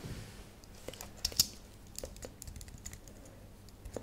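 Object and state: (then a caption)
Plastic computer keyboard. Long nails and fingertips tap slowly on the plastic keys of a thin, solid white and silver computer keyboard lit purple. About nine sharp, bright, dry clicks ring out, each dying almost instantly, with two louder taps near the start. A faint low hum sits underneath.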